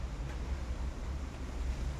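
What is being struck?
Nothing is struck.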